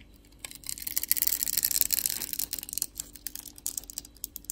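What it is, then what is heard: Soap bar being scraped. A metal box-cutter blade scrapes across the cross-hatched surface of a solid, palm-sized orange soap bar held in the hand, flaking off small cubes. A dense run of crisp, bright, crackling scrapes gives way to sparser, sharp little clicks as the cubes break away.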